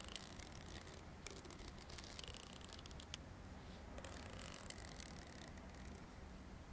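The fine teeth of a long, solid, dark green plastic comb are flicked and strummed with the thumb and nails. This produces quiet, bright clicks and rapid ticking ripples over a steady low rumble. The sharp, short ticks come in uneven bursts across the clip.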